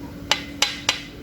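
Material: Metal.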